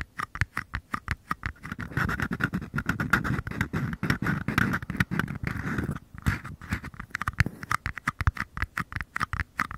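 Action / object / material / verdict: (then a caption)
tap / small empty paper cup / paper / none. Fingers rapidly tap and scratch the paper bottoms of two identical small, empty paper cups held bottom-first close to the microphones. Quick hollow, papery taps with a mid-pitched ring give way to a stretch of dense, rustling scratching, then return to brisk, crisp tapping.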